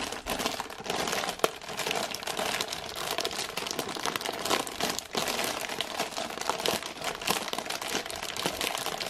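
A full cardboard gingerbread box in printed plastic wrap is held in both hands while long nails squeeze and scratch the film. The result is a steady, bright crinkling with almost no low end, dotted with tiny crisp snaps and one sharper click early on.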